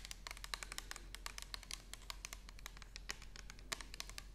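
Long nails quickly tap and scratch across an orange plastic toner bottle with a barcode label, held horizontally. About thirty quiet, sharp, bright clicks sound in an irregular patter, with soft scratchy rustles between them over a low steady hum.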